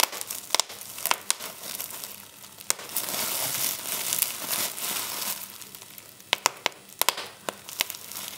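Clear plastic bubble wrap is pinched between both thumbs and forefingers, and the bubbles pop one after another. Sharp, bright snaps stand out over a steady crinkling hiss of plastic, which swells louder through the middle before the quick pops return in a fast cluster near the end.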